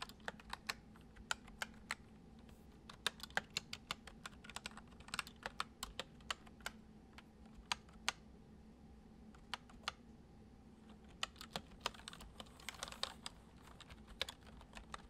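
Fingertips of both hands type fast, repeated taps on a full-size white plastic computer keyboard with hollow keys resting on a wooden desk. Short, bright, hollow clicks come in quick irregular bursts, each dying away almost instantly, over a faint steady low hum.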